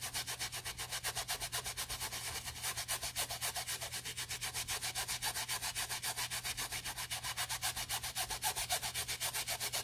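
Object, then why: Nylon fabric bag scrubbed with a small plastic brush and foam. A small plastic toothbrush with foam scrubs the seam edge and the area around the logo plate of an empty beige nylon Prada handbag, with a gloved hand held inside the bag. About 43 quick, evenly paced strokes, roughly four per second, give a bright, bristly, hissing rasp. A faint steady low hum sits underneath throughout.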